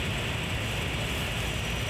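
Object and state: Nothing is struck.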